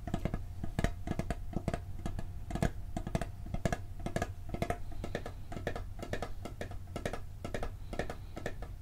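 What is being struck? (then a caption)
Metal cookie tin. Fingertips and nails tap quickly on the lid of a hollow, round blue and gold metal cookie tin held in both hands. The result is a steady run of short, irregular taps, each with a brief hollow low thump and a bright, clicky edge, over a low steady hum. The taps die away almost instantly.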